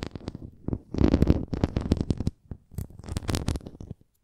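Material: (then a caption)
Plastic. A red plastic flying disc toy stands upright while long nails scratch along its rim and bumps. The result is a run of dry, rapid scratching and ticking strokes with low hollow thumps underneath. Two dense bursts are separated by a brief pause before the sound trails off.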